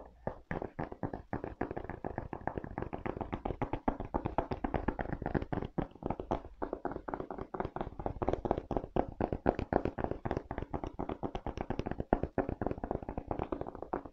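Fingertips tap rapidly on the rubber sole of a leather sneaker, then the shoe is turned and they tap the leather upper and the edge of the sole. The result is a dense, steady stream of short, dry, dull taps with no ring, mostly low and mid in tone.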